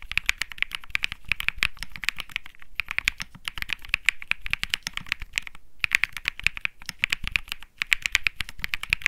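Both hands type rapidly with fingertips on a Think 6.5 65% mechanical keyboard with plastic keycaps and Bsun Lollipop switches. The result is a fast, dense stream of short, bright clacks centered near 2.2 kHz, with light low thock underneath and brief pauses near 2.7 s and 5.7 s. Each keystroke dies away almost instantly.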